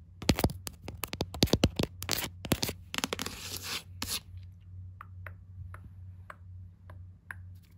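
Long glittery nails rapidly tap and trace the smooth board front cover of a pastel-coloured hardcover book lying on carpet. A quick run of sharp, crisp taps and a brief scratchy scrape give way to quieter, sparser clicks over a steady low hum.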